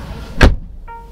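A door of a 2023 Weltmeister W5 electric car is shut with a single deep, low-heavy thump that dies away quickly, followed by a faint steady tone. The door sounds solid, close to German brands though not quite at BMW iX level.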